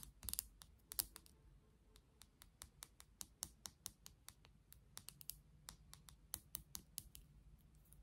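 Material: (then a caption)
Plastic. Long nails tap and scratch along a pink and clear plastic toothbrush handle, making about 33 sharp, bright clicks that stop almost instantly. A cluster of quick scratchy taps comes first, followed by a steadier run of separate taps over a quiet, low background hum.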